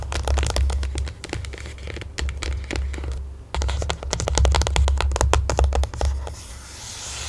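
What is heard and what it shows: Long nails of both hands rapidly tap and scratch a closed, rectangular white printed cardboard smartphone box lying flat under the mic. Crisp, dry clicks and scratchy crinkles ride over a deep, hollow thumping, with a brief lull around the middle. The sound thins to a soft, bright hiss at the end.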